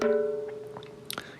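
A tap on a banjo's drum head gives a big, ringing tone pitched around 430 Hz with stacked overtones that fades slowly, followed by a few faint clicks near the end. The tone reveals the head is unevenly tensioned.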